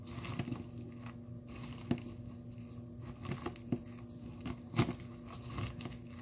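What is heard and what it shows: Dry blue soap flakes in a small clear plastic tub are pounded and crushed with the bottom of a small glass nail polish bottle. Soft crumbly crunches and dull, low-weighted thumps come in irregular bursts, with a few sharper knocks standing out over a quiet, steady low hum.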